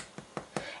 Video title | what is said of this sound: Abby Makes No Knead Bread | if you tap the bottom it almost sounds kind of hollow which is a good thing that means there's lots of air bubbles on the inside